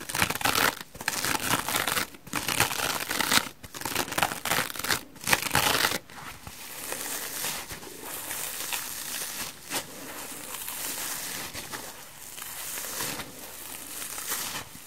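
A dry porous foam sponge, its textured pale back side, is scratched with fingernails, stretched, and then squeezed and crushed between both hands. For the first six seconds loud, bright bursts of rasping scratch come in short runs separated by brief pauses. After that they give way to a quieter, steady crinkling and crunching that continues to the end.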